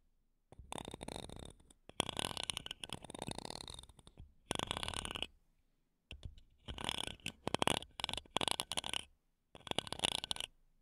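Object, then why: Metal mesh microphone grille. Wooden toothpicks scratch the metal mesh grilles of two small silver condenser microphones, ending with both sticks on one mic. Bursts of dense, bright, crackly scraping come and go, separated by short silences.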